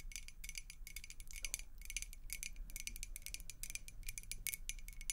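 A clear faceted glass beer mug, partly filled with water, is tapped rapidly with the long acrylic nails of both hands. The result is a steady patter of quick, bright, clicky taps with a faint high glassy ring that dies almost instantly. A soft low rumble sits underneath.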